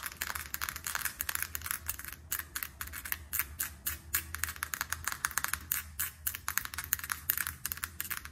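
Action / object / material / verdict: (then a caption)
tap / small square plastic compact tapped with fingernails / plastic / none. Long acrylic nails tap quickly on a small, closed, square Dior blush compact with a clear plastic lid and silver rim, which is hard and hollow. About 45 sharp, dry clicks come in a rapid, uneven stream, each bright and dying out almost instantly, over a faint low hum.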